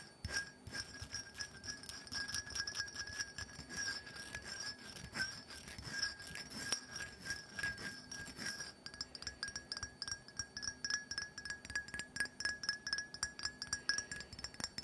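Long nails rapidly tap the top edge of a small black glass perfume bottle held in the hand. They make a dense stream of clear, bright glass clinks that ring briefly around a steady tone near 1.65 kHz, with a higher shimmer above it. The tapping runs continuously, becoming slightly more spaced and distinct in the second half.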